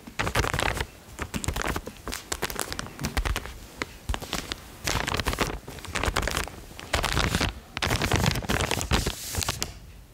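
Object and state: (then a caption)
Plastic mailer bag. Long painted fingernails tap and scratch the glossy surface of a large white plastic shipping bag with a printed logo, held upright and softly filled with clothing. Dense, crinkly bursts of tapping and scratching come in waves, with quieter gaps between the clusters of rustle.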